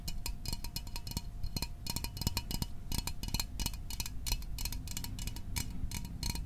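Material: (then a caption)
Aluminium. Fingernails tap rapidly on a small, hollow Fanta orange aluminium drink can held in the hands, making a dense run of quick, light metallic clicks. Each tap has a short, bright ring over a low body resonance and dies away almost at once.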